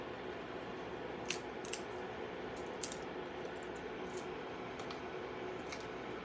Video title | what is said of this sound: Mini Mexican buñuelos | crack this one so that you could hear how crispy it is